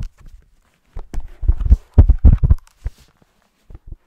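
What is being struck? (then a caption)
Hardcover book page block. Short nails scratch the paper page-block edges of a thick green hardcover book held on its side. The result is a series of soft, dull, low scratchy bursts, bunched in the middle and separated by short silences, with very little high-end brightness.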